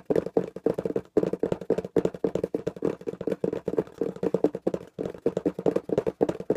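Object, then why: Small taped corrugated cardboard box. A small, hollow, taped corrugated cardboard box is held in both hands and tapped rapidly with the fingertips. The dry, short taps come in quick bursts separated by brief pauses, with a hollow, papery tone centred around 450 Hz and almost no ring.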